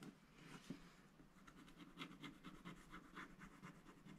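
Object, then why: Coated scratch-art paper scratched with a wooden stylus. A wooden stylus scratches the motifs along the top edge of a flat, coated scratch-art paper sticker sheet held in the left hand. The result is a quiet, steady run of short, dry scratching strokes with a papery rasp and a bright, hissy edge.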